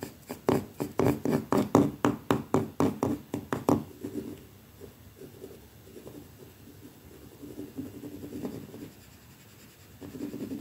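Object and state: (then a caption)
Painted plaster wall. The dark stiff bristles of a wooden hairbrush scrape against a solid white painted plaster wall. Fifteen quick, rhythmic brushing strokes come in the first four seconds, each with a dry, low-mid scratchy sound. They give way to softer, slower rubbing and scraping that fades in and out until the end.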